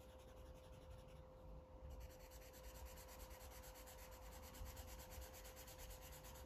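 A blue felt-tip marker scribbles and rubs across a thick stack of white paper pages in a coloring book lying flat, coloring in a map while fingertips hold the page edge. The result is a quiet, continuous scratchy rubbing with a low rumble underneath and a faint steady tone throughout. The bright hiss briefly thins out near the start before the scribbling resumes evenly.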